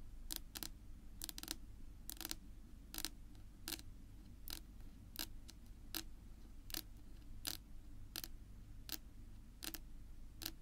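Long natural nail tips tap a flat, solid dark wood-grain tabletop, making short, bright clicks that come singly and in quick pairs at a steady, unhurried pace. Each tap stops almost instantly, with no ring, over a constant low hum.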